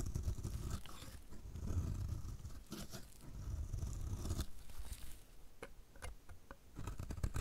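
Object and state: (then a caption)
Dry bar soap scraped with a blade. A solid, dry pink bar of soap is held in the hand while a metal utility blade scrapes crumbly flakes off its edge in repeated strokes. The result is a soft, continuous, low-heavy scraping and crunching, with short crisp bright ticks toward the end.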